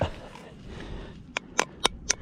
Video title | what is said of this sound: Oyster Shuck Cook And, Eat Camp Series | it's hollow, so he's dying. He doesn't retain water. No good.